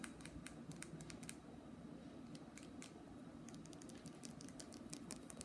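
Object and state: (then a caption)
Glass nail polish bottle. A small glass nail polish bottle, full of red polish and with a white plastic cap, is held up in both hands and tapped with the fingertips and nails. Quick, light, bright clicking taps patter irregularly throughout, over a steady low hum.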